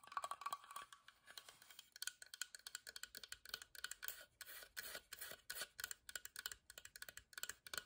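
Long nails tap a rapid series of crisp, dry clicks on the carved front of a small hollow whitewashed wooden box with a carved floral lid. The box is then turned and its wooden side is tapped. The taps are quiet, bright and very short, with no low-end thump.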